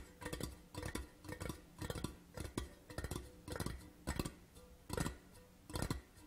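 Fingertips and nails of both hands rapidly tap a large, hollow, empty printed metal Port Charlotte whisky tin tube lying on its side. The taps come in quick bursts, each a hollow, low-heavy knock with a faint tonal ring around 160 Hz that dies away almost at once.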